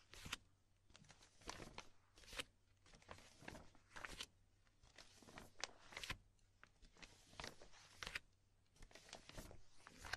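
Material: Plastic.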